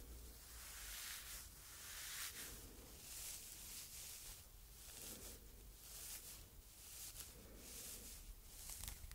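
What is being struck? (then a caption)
Synthetic fibre scouring pad. Long red nails scratch and rub the rough surface of a small rectangular red scouring pad made of coarse synthetic fibres, held close. The result is a quiet, bright, scratchy rustle that swells and fades in uneven strokes over a faint low hum.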